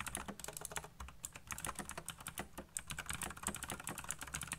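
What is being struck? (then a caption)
Plastic mechanical keyboard. Fingertips type fast on a black plastic backlit mechanical keyboard, producing a dense, steady stream of sharp, bright key clicks. Each click is short and dry, with a soft low thud beneath the crisp high tops.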